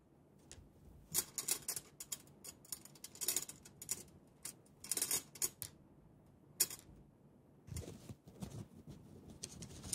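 Bare fingertips tap and fiddle on the side and wire clamp latches of a small, hollow, polished stainless steel brush-washer canister with its lid closed. The result is quiet, bright, tick-like clicks in irregular clusters, each dying away almost instantly, with faint light rustling between them.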